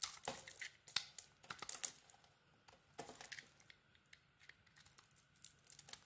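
A small metal blade peels and scrapes the purple glitter coating off a solid, palm-sized bar soap with a cream core, held in the hand. Quiet, bright, crisp scratching and crackling comes in quick, short bursts with almost no low end. The snaps and rasps stop sharply between strokes.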